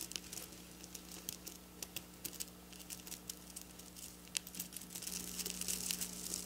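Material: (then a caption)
Plastic sequins. Long black nails scratch and flick silver sequin fabric up close, making quick, bright, crinkly clicks and rustles at an irregular pace over a faint steady low hum. The scratching grows denser and hissier toward the end.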